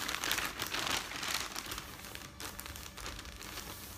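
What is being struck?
Newsprint newspaper sheets.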